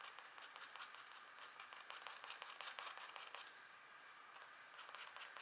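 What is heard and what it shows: Long-nailed hands guide a fine pointed green stylus across a flat, thin, black wax-coated scratch art card, etching small strokes, possibly into a deer or elk design. The result is a quiet, steady stream of dry, bright scratching with short irregular strokes, concentrated in the mid and high range with no low end.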